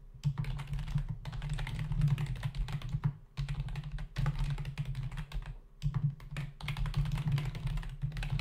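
A black plastic membrane desktop keyboard with hollow key caps is typed on rapidly with the fingertips of both hands. Bursts of quick, dry key taps are separated by short pauses over a steady low hum. Each tap dies away almost instantly.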